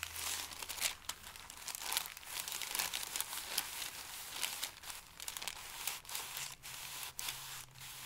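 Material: Paper.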